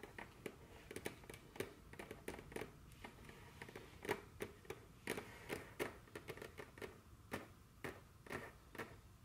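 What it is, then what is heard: Fingernails tapping a solid wooden tabletop. Very long, curved fingernails on both hands tap a solid, dark wooden tabletop in a quick, irregular run. The taps are short, sharp clicks with a brief woody knock around 380 Hz and bright, crisp edges. Each tap dies away almost instantly at a fairly quiet level.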